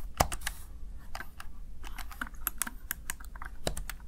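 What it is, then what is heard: Plastic gaming keypad. Fingertips and nails press the keys of a small backlit plastic Razer Tartarus Chroma gaming keypad, producing a quick, irregular series of short, sharp clicks and taps. Each click dies away almost instantly over a steady low hum.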